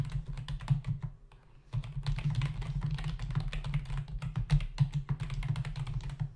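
Fingertips of both hands type rapidly on a full-size black plastic membrane keyboard with hollow keys, resting on a dark desk. Dense, clicky key taps run throughout over a steady low hum, with a brief quieter pause after the first second before the fast typing resumes.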